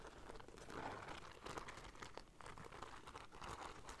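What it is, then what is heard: Beaded fabric bag scratched with nails. Long nails scratch along the gold beaded fringe and braided border of a hollow black cloth bag. The result is a quiet, steady stream of dry, crinkly scratching with small clicks, centered in the mids with some bright ticks and a soft low rumble underneath.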